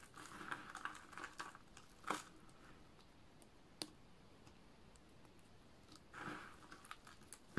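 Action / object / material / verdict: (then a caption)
scrape / dry soap shavings / soap / none. Bare fingertips with painted nails pick up, rub and crumble thin, brittle green dry-soap shavings and chips, from small flakes to finger-sized slivers, piled on a dark surface. Quiet, dry crunchy crumbling and crinkling comes in bursts, broken by a few sharp, bright snaps as pieces break between the fingers.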